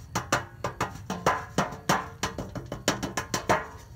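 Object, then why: Thin metal baking sheet. A thin, rectangular, hollow-backed metal baking sheet is held at an angle and struck with the hand in an uneven percussive rhythm of taps and knocks. About seventeen short, dry hits have a woody, block-like tone centered near 1 kHz, with a thumpy low end and a bright edge. Each hit dies away quickly with only a brief metallic ring.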